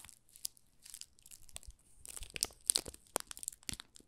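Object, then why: Soap bar wrapped in thin plastic film. Fingertips press and rub the thin clear plastic film wrapping a small solid pink rose soap bar, working along its edges and top. The result is quiet, bright crinkling and crackling in short irregular bursts that grow louder and busier in the second half.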